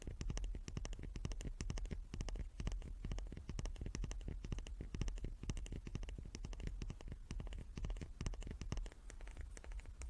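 A small wooden cube is tapped repeatedly in a quick, steady patter for about ten seconds. Each tap is a short, dull knock with most of its weight in the low end, a faint bright click on top, and almost no ring.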